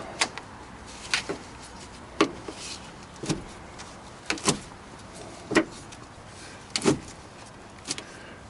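A new truck battery, held down in its hold-down after tightening, is rattled and knocked to check that it is secure, producing a series of short, sharp knocks at irregular intervals. The battery stays put and is judged tight enough, though the hold-down gets a little more tightening.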